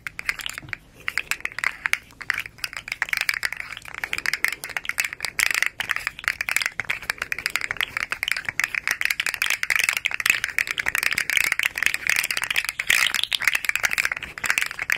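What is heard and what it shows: A small, hollow, rainbow-striped, segmented hard plastic slug fidget toy is curled and flexed in the hands while fingertips and long nails tap on it. Its segments rattle and click in a dense, rapid stream of short, dry, bright ticks, with no low end.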